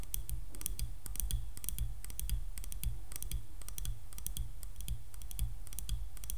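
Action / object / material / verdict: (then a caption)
tap / wooden hairbrush handle / wood / none. Long nails tap quickly on the solid wooden handle of a hairbrush, and the brush is turned upright partway through. The taps make dry, bright clicks over a soft low thud, each dying away almost instantly, in a steady, dense rhythm.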